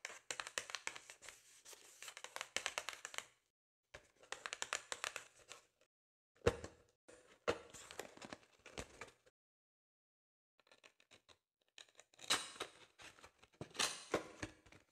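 A small, closed and apparently full rectangular Philadelphia cream cheese carton made of cardboard is held in both hands over a wooden board and tapped and scratched with long acrylic nails. Quick bursts of dry, crinkly scratching and light taps come in several clusters separated by short silences. The sound is bright and papery with almost no low end.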